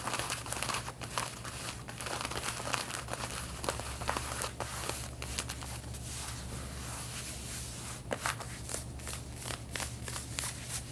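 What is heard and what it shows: Long painted fingernails on both hands scratch the back pockets and fabric of worn light-blue denim jeans. The result is a continuous, dry, bright rasping with crinkly bursts of short scrapes over a steady low hum.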